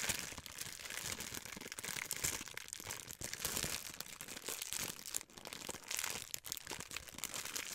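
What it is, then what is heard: Clear plastic wrapper. A small piece of clear plastic wrapper is pinched and crumpled with fingertips and long white nails. The result is a steady, quiet stream of bright, dense crinkling and crackling with very little low end, rising and falling in small surges.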